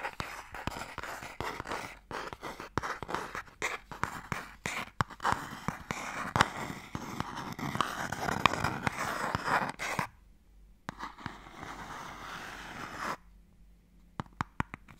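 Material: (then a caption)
Wood. A closed wooden Mikado box is held flat while fingernails tap and scratch slowly on its lid. Dry, close-up ticks and raspy scrapes fill the first ten seconds. A quieter stretch of steady scratching follows, and a few final taps close the clip.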